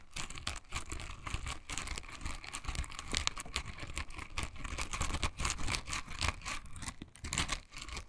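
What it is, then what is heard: Silicone bristle scrubber. A pink silicone bristle scrubber is held in both hands, squeezed, and its bristles scratched with long nails. The result is a steady stream of quick, dry scratching and crinkly ticks with bright, hissy bursts over a low rumble.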